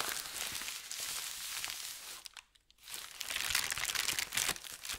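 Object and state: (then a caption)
Thin paper sheet being crumpled. A crumpled sheet of thin white paper is crinkled, then spread flat and rubbed with the palm and fingers. The sound is a dense, bright, crackling rustle that fades to a brief near-silence just past two seconds, then returns louder with sharp crinkly bursts.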